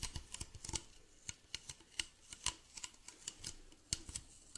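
Fingernails tap and scratch the base and side of a medium, hollow white plastic bottle with a blue cap. About eighteen short, dry clicks land at an uneven pace over a soft scratching hiss. Each one is bright and crisp with almost no ring, and a faint low thud sits beneath.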